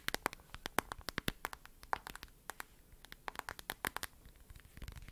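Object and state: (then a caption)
Smartphone in plastic case tapped with nails. Long nails tap and scratch the back of a smartphone in a lavender glossy plastic case, held close to the mic, working around the camera bump. It produces a quick, irregular run of sharp, bright clicks with soft scratching between them. Each tap is dry and stops instantly, and the whole clip is quiet.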